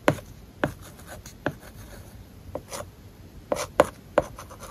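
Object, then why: Plastic stylus on matte plastic screen film over glass. A plastic stylus writes across an iPad whose glass is covered with a matte, paper-like plastic film. Short, dry taps and scratchy strokes are scattered through the clip, each one brief with almost no ring. Between them is a quiet, steady hiss.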